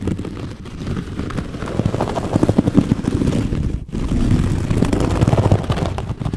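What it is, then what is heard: Wicker basket scratched. Long nails scratch across the top weave of a medium, hollow, rectangular woven wicker basket. The result is a dense, low, continuous rasping with quick ticking grains, briefly dropping away near the middle before resuming.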